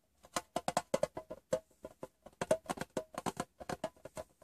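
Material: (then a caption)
Metal. Fingertips and painted nails tap the lid and side of a closed, hollow, rectangular printed metal Wrigley's Doublemint gum tin lying on fabric. About two dozen quick, separate taps come in an irregular rhythm, each a short, light click with a hollow metallic tone around 640 Hz that dies away almost at once.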